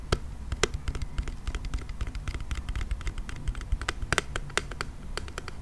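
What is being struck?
Plastic toy car.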